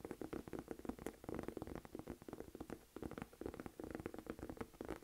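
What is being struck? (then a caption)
Small textured leather crossbody bag. Long nails rapidly tap and scratch the flat front of a small, hollow olive green Michael Kors saffiano textured leather crossbody bag held up in both hands. The result is a quiet, continuous stream of short, dry clicks and scrapes with a muted mid-toned knock and almost no ring.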